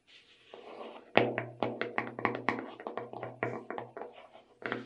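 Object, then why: Plastic tub of sugar sprinkles. Long red nails tap and scratch the lid of a clear plastic tub full of sugar sprinkles. Sharp, hollow plastic clicks in quick irregular bursts sit over a faint scratching rustle, each tap dying away almost at once.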